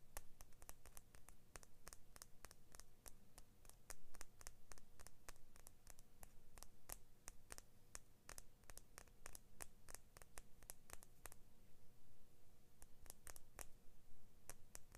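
Fingernails scratch and click along the solid steel blade of a small pair of scissors with plastic handles. A quiet, steady stream of short, sharp, bright ticks repeats throughout, each dying away almost instantly over a constant low hum.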